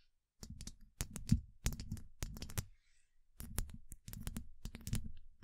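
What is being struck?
Steel mesh microphone grille tapped with long nails.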